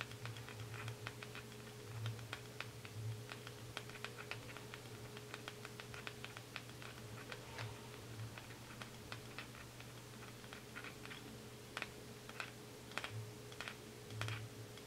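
Fingernails tap rapidly on the lid and body of a small round white plastic cosmetic jar with a black screw lid, held in the hands. The taps are quick, light, bright clicks in an irregular patter, heard over a quiet, steady low hum.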